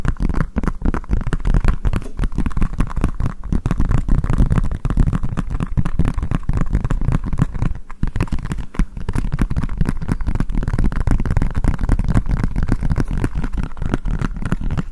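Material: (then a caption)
Silicone. A green collapsible silicone bowl, hollow and empty, is held against the microphone while fingertips tap and scratch fast on its base. The sound is a dense, continuous stream of dull, boomy low thumps and scratchy rustles with almost no high content. A brief dip just before 8 seconds interrupts it.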